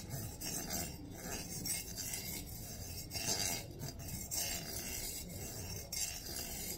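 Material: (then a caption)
Metal. Fingertips and nails rub and scrape along the ridged edges of a long stack of gold-coloured metal coins held in the hands. The result is a steady, bright, raspy scratching with a soft low rumble underneath, rising and falling in uneven strokes.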